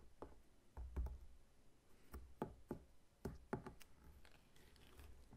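Both hands tap and knock with their fingertips on the scaly rind of a whole, solid pineapple standing upright. The result is a quiet series of dull, low, woody knocks that stop short with almost no ring, with soft taps between them.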